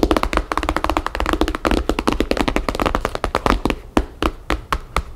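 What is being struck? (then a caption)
Paper-covered hardcover album. Long painted fingernails of both hands tap rapidly on the map-printed paper cover of a thick hardcover album, a solid block of pages lying flat on a wooden table. Quick, dry tapping with a dull, papery thud and almost no ring comes in a dense flurry, then thins to a few sparser taps toward the end.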